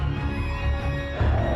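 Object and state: Nothing is struck.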